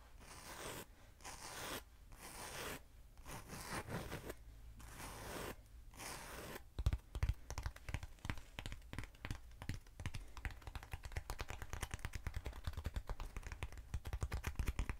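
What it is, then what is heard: Hollow foam cylinder tapped and scratched with nails. A short, hollow black foam cylinder is held upright while long nails scratch and tap it. For about the first seven seconds there are long, breathy scraping strokes separated by brief pauses; after that come rapid, dense, dry taps with crisp clicks over a low hollow thump.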